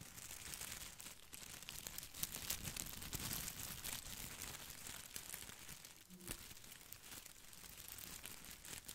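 Fingertips scratch and brush the glossy plastic leaves of an artificial boxwood ball close to the mic, giving a dense, bright crinkling and rustling that runs steadily for the whole clip. It dips briefly near the six-second mark and then picks back up.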